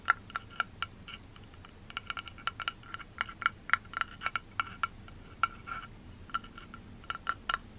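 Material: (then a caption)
Metal. Long green-painted nails tap and scratch the black rectangular metal body of a 3Dio binaural microphone with white silicone ears while it is held. Quick, sharp clicks ring briefly around a pitch near 1.4 kHz with bright overtones, with softer scratching in between over a low, steady hiss.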